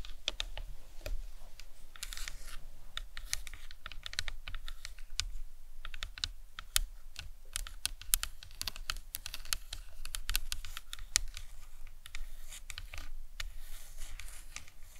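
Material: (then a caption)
Plastic. A life-size hollow plastic anatomical skull model is tapped and scratched with long nails on the top and sides of the cranium. Quick, light, dry clicks and taps come in a steady, dense stream for the whole 15 seconds, each dying away almost instantly, over a faint low hum and soft scratching.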